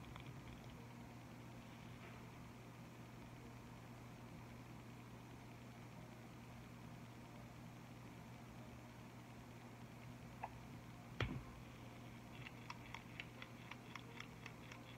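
A black-barrelled liquid chalk marker with a red cap and red end, about hand length, made of hollow plastic filled with liquid paint and likely holding a mixing ball, is held in both hands and shaken. A steady low hum runs throughout, broken by a faint tick and then a sharp click near the eleventh second. A quick run of short, bright rattling ticks follows to the end.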